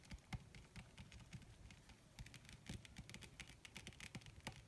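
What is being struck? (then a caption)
Wrinkled leather sheet. Long red nails tap quickly and scratch across a wrinkled black leather (possibly faux) sheet as the hands move. The result is a quiet, rapid patter of short, dry taps with a soft low thump and bright clicky edges, broken up by brief scratchy rustles.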